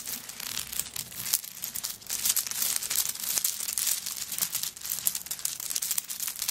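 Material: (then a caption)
Coconut shell. Long nails scratch and tap the coconut shell chips covering a handbag lying flat. The result is a continuous bright, crackly scraping with many quick, dry clicks and almost no low end.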